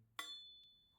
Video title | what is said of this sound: 双立人菜刀测评：贵有贵的道理？教你选出高性价比好刀！ | the sound of a knife made in one piece will have an echo